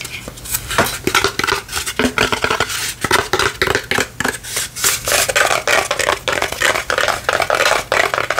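A small rectangular wooden lantern panel with a laser-cut palm tree and sun design, lit from inside so it is hollow, is held in both hands and tapped with the fingertips and nails. The taps are quick, irregular and dry, clicky and fairly bright with only a very short ring.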